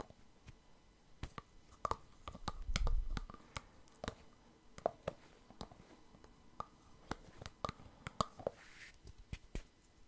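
Fingers remove and replace the clear plastic cap on a partly full white plastic Clearskin foam cleanser pump bottle, clicking it back onto the bottle. Quiet, sharp, irregular clicks and light taps with a faint mid-pitched ring, plus a brief low rustling bump near the start.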